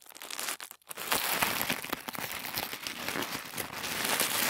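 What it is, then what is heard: Thin tissue paper being crumpled. A roll of thin white tissue paper is twisted and squeezed between both hands, giving a dense, bright crinkling and crackling with light tearing-like rustles. After a few soft crinkles and a brief near-silent pause, the sound becomes a steady, busy rustle that grows slightly louder toward the end.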